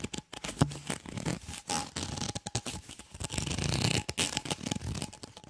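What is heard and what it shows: Fingertips and nails scratch and rub along the ridges of a white, ribbed, flexible plastic tube, hollow and empty, held close to the mic. The result is a fast run of raspy, ridged scratching bursts with a bright, hissy edge and a hollow low-mid body. Each stroke dies away almost at once.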